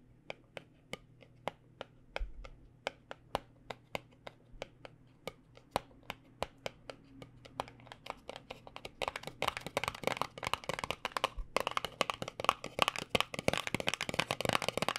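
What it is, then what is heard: Cardboard cosmetic box. A small white paperboard cosmetic box, held in both hands, is tapped with fingertips and nails. Sharp, dry, short taps start sparse and evenly spaced over a faint low hum. About halfway through they turn into a fast, dense, louder flurry of crisp tapping and scratching.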